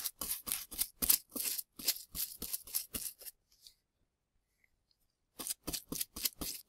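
A small bristle brush in a gloved hand sweeps plaster powder between the plastic ribs set in a dusty plaster block. Quick, bright, scratchy strokes come about three per second, stop for about two seconds, then resume.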